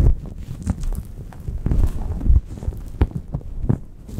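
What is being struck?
Microfiber towel over a microphone.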